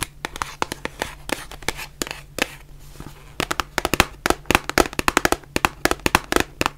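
Long fingernails tap and scratch a white printed cardboard face mask box held in both hands, making about thirty short, sharp, dry clicks with a bright papery edge. The taps are looser and mixed with scratching at first, then come in a quicker, steadier run over a faint low hum.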